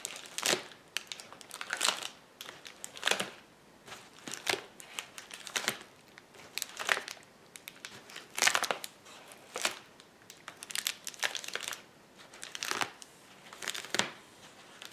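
Hands press and pop the bubbles on a flat sheet of clear plastic bubble wrap lying on a table. Bursts of bright, crisp crinkling and sharp snapping pops recur every second or so, with almost no low end. Quieter rustling of the plastic fills the gaps between bursts.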